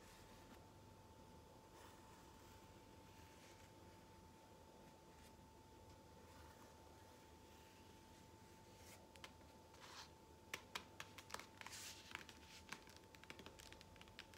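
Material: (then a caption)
Foam. A blue, ridged cylindrical foam massage roller about 30 cm long, a vibrating roller with a black motor end cap, is held upright while long fingernails scratch along its textured foam surface. For the first nine seconds there is only a quiet background with a faint steady tone. Then a loose run of sharp, bright, crackling scratches and clicks follows to the end.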